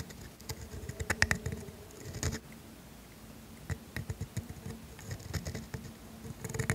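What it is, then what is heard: Paper scratched by a steel dip pen nib. A pointed steel dip pen nib, held by a hand with painted nails, scratches strokes across a flat grid-ruled paper sheet while writing the word "same." The quiet, dry scratching comes in short, clustered bursts with a soft low body and faint bright edges.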